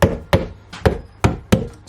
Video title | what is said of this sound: DIY Monster Salt Water Pond Build Part 2 | i was tapping everything just make sure there's no looseness not rattles or anything and this thing is just is solid not going anywhere